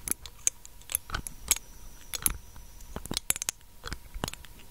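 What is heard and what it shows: Long nails tap and scratch the dropper cap and glass of a small, clear, hollow glass dropper bottle held close to the microphone. The result is a quick, uneven series of sharp, bright clicks and light scraping, each tap dying away almost instantly over a quiet, faint background.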